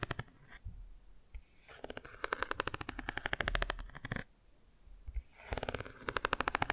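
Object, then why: Cardboard board book. A cardboard board book is held open at an angle on its bicycle and car pages while long nails rapidly tap and scratch the car page. Bursts of quick, dry, clicky taps alternate with softer scratching, separated by a brief quiet lull before a final run of taps.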